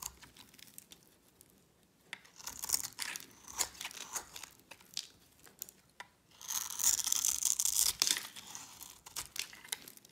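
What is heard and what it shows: A metal blade scrapes and cuts a solid, hand-sized bar of light pink dry soap held in a hand with long red nails, shaving off crunchy flakes. Bright, dry crunching and scratching scrapes come in uneven bursts, loudest in two longer strokes separated by quiet pauses. Each cut stops dead with no ring, leaving only high, crisp crackle.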